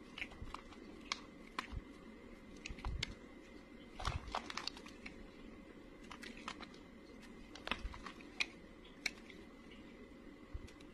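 A snap-off utility blade shaves crumbly curls from the surface of a solid, dry beige bar of soap. The result is a quiet stream of dry, crisp scraping and crunching with many short, bright clicks. Small crumbly snaps stand out over a soft hiss.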